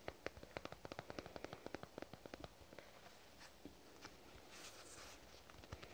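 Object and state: Plastic squeeze tube.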